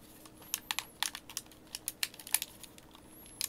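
A white, hand-sized, hollow plastic Xbox game controller is held in both hands while thumbs and fingertips press and click its buttons and thumbsticks. About sixteen short, sharp, bright plastic clicks come in an uneven stream, each dying away almost at once, over a faint high tone near the start and end.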